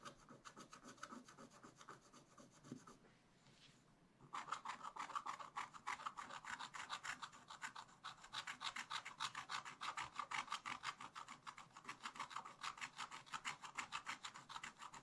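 A wooden stylus scratches quick, repeated strokes into black wax-coated scratch-art paper in a spiral-bound pad, etching a raccoon picture. Dry, bright, rasping scrapes come in a steady rhythm of about three per second, pause briefly near the three-second mark, then resume louder and denser until the end.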